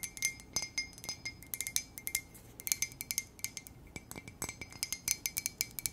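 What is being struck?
Ceramic coffee mug.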